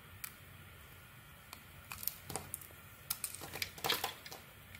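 A metal blade carves and shaves chunks off a solid oval Penaten bar of soap with a mauve outer layer and white inside, held in the hand. Crisp, bright scraping and cutting strokes come in short bursts over a quiet background, with the densest cluster near the end.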